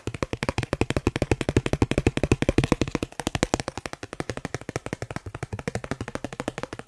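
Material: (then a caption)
Plastic. A thin, solid dark blue plastic Snipes store card is held near the microphone and tapped rapidly with the fingertips. About 67 short, dry, hollow clicky taps follow in a quick, uneven stream. They are louder through the first three seconds and a bit softer afterward.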